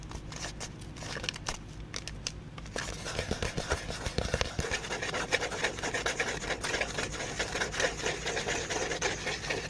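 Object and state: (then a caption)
Cardboard being rubbed and scratched. A flat, folded tan cardboard piece is held close to the microphone and tilted by one end while fingertips rub and scratch along it. Soft, sparse rubbing in the first few seconds turns into dense, dry, papery scratching with a bright hiss that continues to the end.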